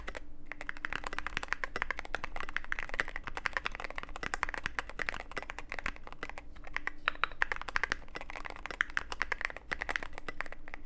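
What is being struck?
Mechanical keyboard with plastic keycaps and aluminium case.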